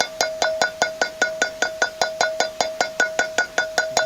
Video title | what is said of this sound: Replacing electric trailer brakes and wheel bearings. | tapping on the seal, which was kind of the more light, hollow sound